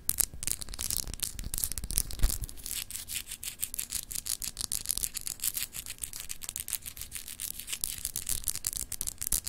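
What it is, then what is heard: Glass globe paperweight scratched with nails. Long acrylic nails scratch the etched, textured surface of a palm-sized solid clear glass globe paperweight held in both hands. The result is a steady stream of quick, bright, raspy scratching strokes over a soft low rumble, with each stroke ending almost instantly and no ring.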